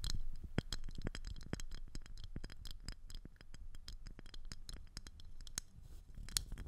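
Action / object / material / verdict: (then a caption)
tap / thin rigid plastic ring disc / plastic / none. Long acrylic nails tap and scratch the surface and edge of a thin, rigid, clear plastic ring disc with a hollow center, fitted around a microphone head. A rapid run of sharp, dry clicks and scrapes plays over a low rumble, each tap bright and clipped with no ring after it.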